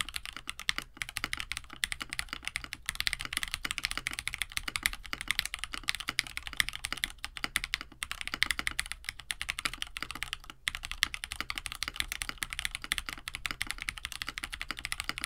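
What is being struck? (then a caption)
Plastic mechanical keyboard with PBT keycaps. A compact 65% KBD67 Lite mechanical keyboard with a plastic case, FR4 plate, lubed KineticLabs Hippo linear switches and blue and white PBT keycaps sits on a desk mat while both hands type steadily with their fingertips. The continuous presses make a fast stream of short, dry, bright clacks centered around 2 kHz, each dying away almost instantly with very little low thump.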